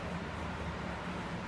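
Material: Nothing is struck.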